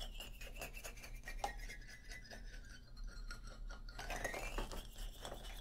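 Fingernails scratch the solid hardwood bars of an upright wooden xylophone, making quiet, dry rasping strokes with light clicks. Faint tonal hints from the bars ring only briefly over a steady low hum.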